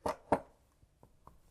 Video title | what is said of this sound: Pneumonia : Symptoms | did you hear that was a dull sound